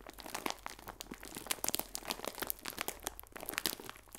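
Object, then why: Clear plastic film bag of biscuits. A clear plastic film bag full of biscuits is held sideways and squeezed and crinkled. Dense, bright crackles and crisp snaps come in quick irregular bursts with very little low end, each dying away almost at once.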